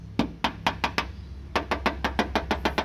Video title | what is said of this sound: Cara Mengecek Kondisi Mobil Bekas | kalau tidak ada dempul mobil ini pasti bunyinya seperti ini tipis